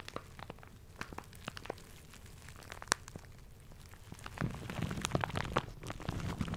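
A small crinkly plastic shower cap with a red polka-dot print is held in both hands close to the mic while fingertips crumple and rub it. Sparse, sharp crackles and crinkles fill the first four seconds, then the crumpling grows denser and louder toward the end.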